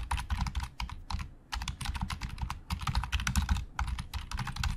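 Fingertips type rapidly on a black plastic Logitech keyboard with hollow plastic keys, producing a dense stream of light, clicky key taps over a low, hollow thud. A brief pause breaks the flurry before the fast typing resumes.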